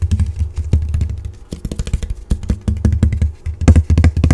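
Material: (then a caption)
Cardboard. A tall, flat printed cardboard character cutout is held upright and rubbed and scratched across its printed surface with fingertips and nails. The result is a rapid, uneven run of short scratchy clicks and taps over a dense, boomy low-frequency rumble.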